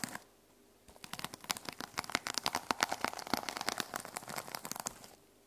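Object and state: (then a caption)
Sequin-covered notebook, scratched. Long nails scratch with one hand across the teal plastic sequin cover of a small notebook resting on a wooden table. After a brief quiet start, a dense run of bright, crinkly ticks and rasps lasts about four seconds, with no low rumble, then fades back to near silence.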